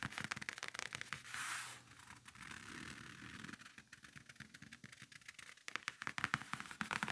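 Fingers scratch and rub the surface of a closed black faux-leather briefcase lying flat, then the hands grip its sides. Quick, bright scratching ticks are broken by a brief hissing rub and a stretch of softer, duller rubbing. Sharp, crisp scratches return at the end.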